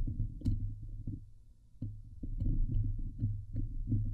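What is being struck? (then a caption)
Steel wire-mesh microphone grille. Fingernails from both hands scratch across the hollow steel wire-mesh grille of a Blue Yeti microphone head. The result is a deep, boomy, throbbing rumble centered low around 100 Hz, broken by irregular swells and faint bright clicks as the nails catch the mesh.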